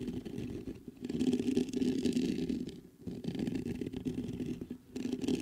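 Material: Metal mesh.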